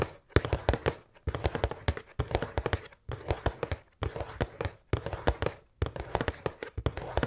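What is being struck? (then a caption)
Cardboard snack box. Long painted nails tap and scratch the printed front of a large, hollow cardboard pretzel box held upright with snack bags inside. Dense bursts of quick, dry clicks and taps with a low hollow thump come in several runs separated by short pauses.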